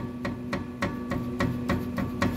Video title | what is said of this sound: chevy traverse brakes and suspension diagnosis | and you can hear it when you tap on it this sway bar needs to be replaced